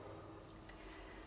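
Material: Nothing is struck.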